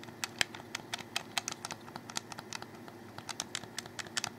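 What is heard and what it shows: Fingers click and tap on a hollow black plastic Xbox 360 controller held close, making a quick, uneven run of sharp, dry clicks and taps. The clicks are bright and short, with almost no ring, over a faint low background hiss.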